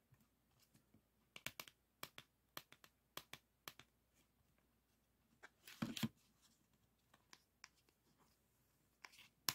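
A single pink 3.5-inch floppy disk with a hard plastic shell, paper label and metal hub is held in hand while fingertips and nails tap and scratch the label and back. Sharp, bright, dry taps come at an uneven pace, with a longer scratching rustle near the middle and a quiet, close background.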